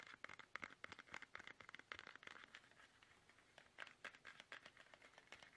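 Fingertips tap fast on a small, soft, hollow plastic toothpaste tube held upright in both hands. The rapid, dry, crinkly clicks and scratchy taps sit bright in the upper mids, with almost no low end and no ring. A softer stretch in the middle gives way to a louder burst of tapping toward the end.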